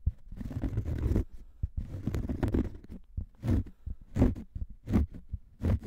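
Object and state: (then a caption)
Cork coasters. Two identical thin round cork coasters are scratched with fingernails and rubbed together close up, making dry, low, crackly scraping. The sound comes in irregular bursts, with longer continuous rubs at first and shorter scratchy strokes after.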